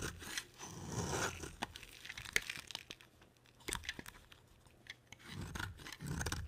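A palm-sized solid orange bar soap is shaved with a box cutter blade and rubbed with fingers. Dry, crisp crunching and tearing scrapes alternate with soft rubbing, broken by sharp bright clicks and quiet gaps.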